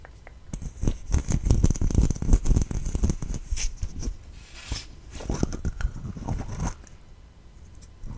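A small, hollow green plastic slime tub with a lid is held in both hands close to the mic and tapped and scratched with long red fingernails. Quick, irregular dull taps and scratchy rustles come in dense bursts for the first few seconds, then ease into quieter, sparser scratching.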